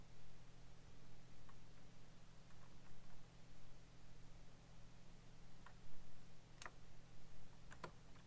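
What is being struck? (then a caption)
Mechanical computer keyboard with plastic keycaps. Fingertips type slowly on a black backlit mechanical computer keyboard with plastic keycaps, producing sparse, distinct, short clicks. A steady low hum sits underneath and dominates the otherwise quiet sound, with the sharper, brighter clicks coming near the end.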